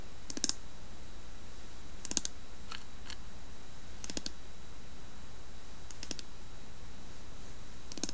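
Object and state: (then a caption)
Carved wooden lidded box, nail-tapped. A long fingernail taps and scratches the carved side and rim of a hollow carved wooden lidded box tipped on its side. Small groups of quick, bright clicks and light scrapes come about every two seconds over a steady low hum. The sound stays soft and dry, with no loud impacts.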